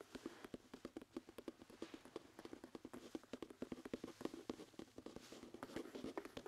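Fingertips tap on the hard sole and heel of a brown leather dress shoe held up by hand. About three dozen quick, dry knocks play out like a soft clip-clop, each with a low-mid hollow tone and almost no ring.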